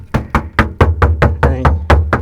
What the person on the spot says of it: coming up to the body line it sounds solid